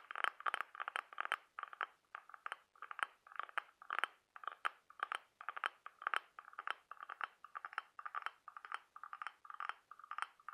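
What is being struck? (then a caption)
Ribbed cockle half-shell tapped and scratched with fingernails. Several fingernails scratch and tap the ribbed surface of a brown-patterned, orange-brown cockle half-shell held up close. Rapid clusters of dry, clicky taps and short scrapes repeat steadily throughout, with a mid-range tone and bright edges but no low end. Each click dies away almost instantly.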